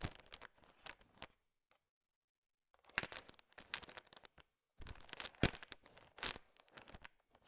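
A large pile of small, solid, sugar-shell-coated chocolate M&M candies is stirred with a thin wooden stick, the candies clicking against each other. Bursts of quick, bright crinkly clicks come in three stretches, split by a near-silent gap around two seconds.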